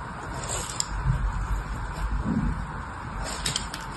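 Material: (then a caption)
Soap. A solid green bar of "PURE" soap, held in both hands with long red nails, is scored across its top with a thin blade. The result is a soft, steady scratching with a low, muffled body, broken by a few faint bright clicks and brief swells as the blade drags.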